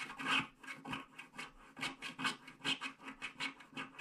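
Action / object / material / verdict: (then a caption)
scrape / scratch-art card with black coating, wooden stylus / coated paper / none. A wooden stylus scratches the border strip of a flat paper scratch-art card with a black coating, working in short strokes. The result is a rapid run of dry, bright, rasping scratches, strongest around 2.5 kHz with almost no low end. Each stroke stops dead with no ring.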